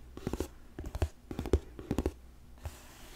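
Fingertips and nails rub and scratch the flat sides of a medium, hollow, closed rectangular gold-colored cardboard gift box with printed brand lettering. The result is a series of soft, dry scraping strokes in uneven clusters with low, dull thumps and little high content.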